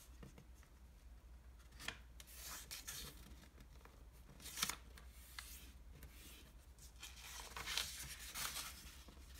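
Fingertips and a palm slide over a single thin, flat, square sheet of red origami paper on a wooden table, folding it and rubbing the crease flat. Soft, bright papery rustles and swishes rise and fall, with sharper crinkles standing out at a few points, over a steady low hum.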